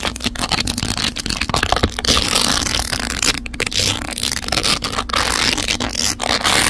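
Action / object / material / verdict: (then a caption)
scrape / plastic phone case studded with small rhinestones / plastic, rhinestones / none. Long neon acrylic nails scratch and tap a smartphone held in a clamp, its hard plastic case densely covered in small glass or acrylic rhinestones in a black-to-pink gradient. The result is a continuous, bright, crackly scraping texture with quick taps mixed in.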